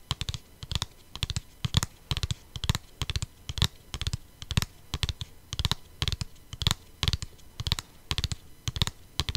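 Long painted nails tap a flat, hollow plastic CD jewel case with a printed insert, held in the hand. Dozens of quick, dry clicks come in rapid bursts, each a low hollow knock with a bright tick on top that stops almost instantly.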